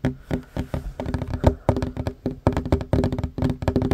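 Short fingernails and fingertips tap fast across a worn wooden tabletop, a large solid surface. The result is a dense run of quick, dull knocks with little ring. Each knock is weighted low, and a few land harder than the rest.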